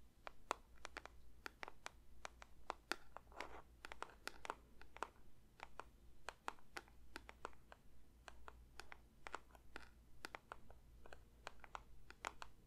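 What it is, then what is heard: Paper box. A paper box is lightly tapped with the fingers for ASMR, making a quiet, steady stream of short, dry taps with a slight papery crinkle. The taps die away instantly over a constant low hum, with no ringing.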